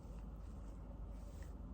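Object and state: Nothing is struck.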